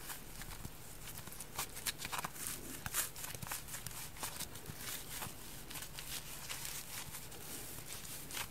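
A damp, hand-sized orange porous polyurethane foam kitchen sponge is held in both hands and squeezed and rubbed by fingers with long dark nails. It makes quiet, bright, crackly squishes and scratchy rustles in short, irregular bursts over a steady low hum.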